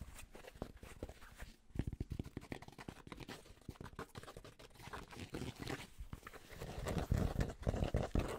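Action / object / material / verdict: tap / cotton baseball cap / cotton / none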